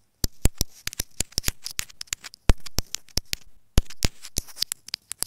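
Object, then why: Plastic earphone inline microphone. Long nails rapidly tap and scratch a small white plastic inline microphone housing on an earphone cable lying on fabric. Sharp, dry clicks with a bright crackle come in quick irregular bursts, broken up by short scratchy rustles. Each tap dies away almost at once.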